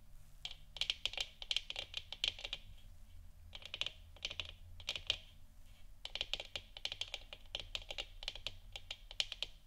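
Long nails tap quickly on a large, hollow, textured plastic moon lamp sphere, lit orange and resting on a wooden stand. The taps come in bursts of dry, bright clicks centered around 3 kHz, with brief pauses between bursts. Each click dies away almost at once over a faint low hum.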